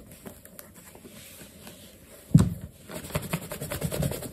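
A black leather sneaker, stuffed with a cloth and held in the hand, has its toe and side buffed with a yellow cloth under the fingertips. Quiet, low, muffled rubbing and scraping gives way to a sharp louder swipe partway through, then a steady run of soft rhythmic buffing strokes.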